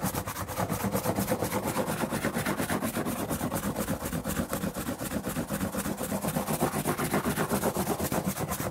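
Fingers rub and scratch the flat surface of a large, hollow, empty corrugated cardboard shipping box with a printed smile logo, held up in the air. The result is a steady, fast, rhythmic rasping scratch with a low hollow rumble under a bright, hissy texture that continues at an even level throughout.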